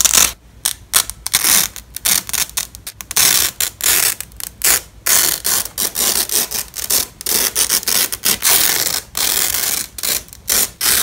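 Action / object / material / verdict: scrape / nylon hook-and-loop strap / nylon / none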